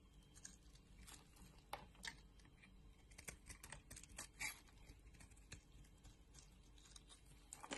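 A green solid bar of soap, held in the hand, is scraped and shaved with a box-cutter blade, producing curls. The result is a quiet series of short, crisp, bright scratching strokes at an irregular pace, with a few sharper flicks standing out over a low, steady hum.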